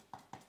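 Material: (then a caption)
Styrofoam. Two light taps on a DIY audio diffusor panel built from two plates and styrofoam, checking whether it resonates. Each tap is a short, dull knock with a brief midrange tone that dies away almost at once. The panel sounds little different from tapping a table, so it should not resonate much.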